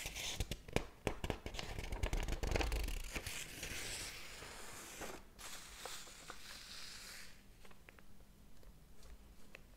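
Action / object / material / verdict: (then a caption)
scrape / paper pages of a thick hardcover book / paper / none. Fingertips flip through the paper pages of a large, thick hardcover book lying open on a table. The result is a rapid run of crisp, papery flicks and rustling swishes with bright crackle and soft low thumps. The flicks come thick in the first few seconds, then ease into quieter rustling with scattered page turns.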